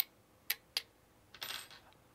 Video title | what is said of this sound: 08 ONVIF Ctronics Security Camera 5MP, tinyCam App 10in Tablet, 15mbps Wifi Playing at 2fps | doesn't sound like plastic when you tap on it